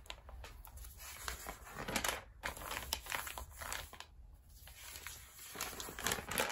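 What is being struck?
Glossy paper magazine.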